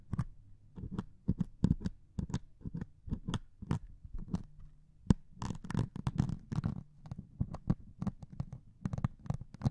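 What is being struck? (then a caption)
Melamine foam sponge scratched with a metal needle. A single metal needle held in the fingertips pokes and scratches a solid melamine sponge with a grey scouring foam top. Many quick, soft, low thumps mix with short bursts of dry, bright scratching, with the scratching thickening in the middle of the clip. Each sound dies away almost at once, with a faint low hum underneath.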